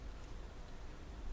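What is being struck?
Nothing is struck.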